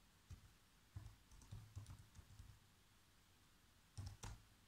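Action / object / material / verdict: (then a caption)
tap / plastic laptop keyboard keys / plastic / none. Fingertips type on the black plastic keys of a laptop keyboard, producing about nine soft, quiet key taps spread unevenly over the clip. Each tap is a short, dull low thump with a faint bright click that dies away almost instantly.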